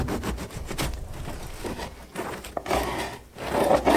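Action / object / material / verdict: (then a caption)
scrape / ciabatta bread loaf with hard crust / bread crust / none. A serrated bread knife saws lengthwise through a whole floured ciabatta loaf with a hard crust, resting on a round wooden board. The crust gives off dry, scratchy rasps in quick, uneven back-and-forth strokes, with crisp crackles over a soft low rumble. The sawing swells louder toward the end as the blade works deeper into the loaf.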